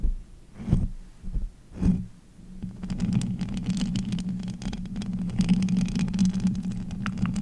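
Both hands with long acrylic nails grip, rub and tap the uncovered metal wire-mesh grille of a large pink USB condenser microphone with a hollow head. Two deep, muffled thumps swell up early, then a continuous low, boomy rumble of dense scratching and rubbing takes over for the rest of the clip.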